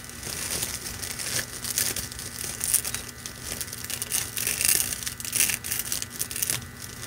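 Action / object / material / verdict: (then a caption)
scrape / metallic plastic mesh ribbon / plastic / none. A red metallic plastic deco mesh ribbon, held in both hands, is crinkled and crushed with fingers and nails for about seven seconds. The result is a dense, bright, crackling crinkle with almost no low end, swelling in uneven bursts, the loudest near the middle and later in the clip, over a quiet steady background.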